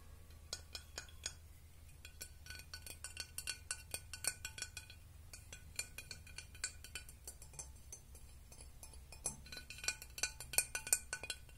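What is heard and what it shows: A glass object is tapped and clinked in a long, irregular run of quick, light strikes. Each strike gives a bright, short chink that dies away almost at once. A steady low hum sits underneath.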